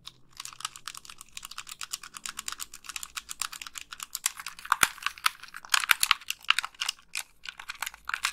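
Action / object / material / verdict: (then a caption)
tap / plastic game controller / plastic / none. Long pink nails click the buttons and tap the shell of a hollow white plastic Xbox 360 gamepad. A rapid, steady stream of crisp, dry, bright clicks and taps has no ring, with a few sharper, louder clicks partway through.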